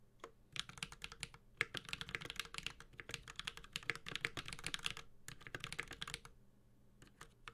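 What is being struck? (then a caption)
Mechanical keyboard with metal case and plastic keycaps. A Space65 Cybervoyager 65% mechanical keyboard with a white-gold aluminum case, plastic keycaps, a carbon fiber plate and tactile Holy Panda switches is typed on steadily with the fingertips of both hands. Rapid, bright, clacky keystrokes come in dense bursts with short pauses near the middle and toward the end, each press snapping off sharply with almost no ring.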